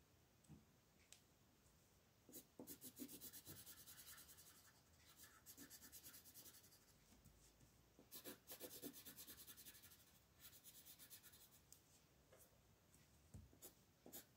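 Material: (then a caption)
Paper. A blue colored pencil is rubbed across a thin paper mandala page resting on a table in coloring strokes, while the other hand holds the sheet steady. Quiet, scratchy rasping comes in bursts of quick back-and-forth strokes, with a bright papery hiss and soft pauses between passes.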